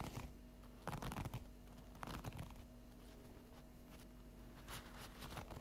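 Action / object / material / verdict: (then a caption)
scrape / stack of folded paper napkins / paper / none. Long acrylic fingernails scratch and tap along the top edge of an unwrapped stack of folded paper napkins. Soft, dry papery scratches come in irregular bursts over a quiet, low background hum. Brief crinkly taps stand out before fading back into the gentle rustling.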